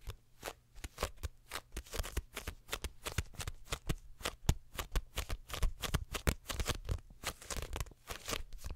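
A small, closed paperback My Hero Academia manga volume with a paper cover and pages is held up close and tapped and flipped with long nails and fingertips. The result is a fast, uneven run of dozens of short, crisp papery taps and flicks with a dull low thump under them. Each sound dies out almost instantly.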